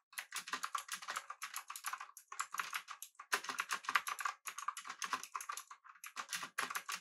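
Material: Plastic.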